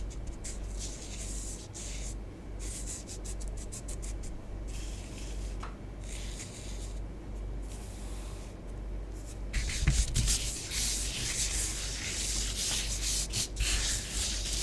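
Long nails rub and scratch through orange bath bomb powder spread on a tabletop, smoothing the design. A steady bright, gritty scratching comes in short repeated strokes over a constant low hum. It grows louder and denser in the second half.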